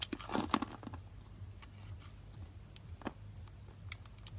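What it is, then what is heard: Dry bar soap being scraped. A metal blade scrapes along the scored end of a solid rectangular lilac bar of dry soap held in the palm, shedding small soap cubes. A dense burst of crisp crunching and crumbling fills the first second, then sparse, quieter crackles and a sharp snap follow over a low, steady hum.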